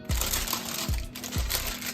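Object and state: Hollow-sounding, fully baked bread loaf.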